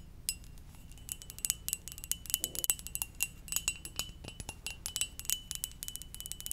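Long nails tap quickly and irregularly on the glazed body of a hollow, red and white ceramic mug shaped like a Poke Ball. Each tap is a sharp, bright click that dies away almost at once, with a faint high ring near 3 kHz and higher. A low, steady hum sits underneath.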